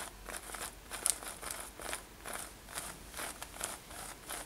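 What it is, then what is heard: Denim top scratched with fingernails. Long nails scratch across a worn light-blue denim lace-up top with metal eyelets. The result is a quiet, uneven run of soft, dry scratching strokes, a little more than two per second, with a bright, hissy texture.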